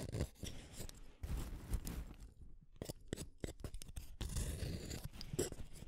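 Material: Wood.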